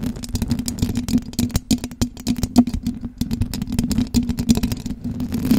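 Long blue acrylic nails tap and scratch the silver perforated metal mesh grille of a large condenser microphone with a hollow head. The result is a dense, rapid stream of sharp clicks and scrapes over a steady low, boomy hum. Mouth sounds may also be mixed in.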